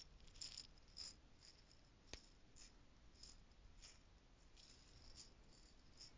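A small clear plastic stacking jar holding loose gold costume jewels is shaken in the hand. The jewels rattle against the plastic in quiet, bright, clicking bursts, with one sharper click partway through, over a low, steady background rumble.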